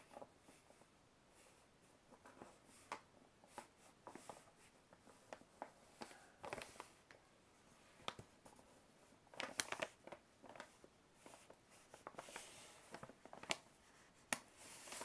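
Fingertips and nails scratch and trace across the printed logo area of a large, hollow brown kraft paper shopping bag. The result is quiet, dry, papery scratching with a bright hiss, broken by scattered sharp clicks and brief rustles that stop almost instantly.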